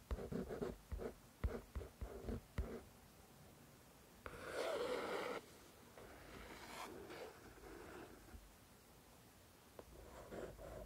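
Long, dark-painted nails tap and scratch the glossy card front cover of the paperback novel "The Shack," a solid paper book lying flat, and later move to its back cover. Six quick, dry taps open the clip, followed by a louder, bright rasping scratch and then softer, quieter scratching. A few light taps return near the end.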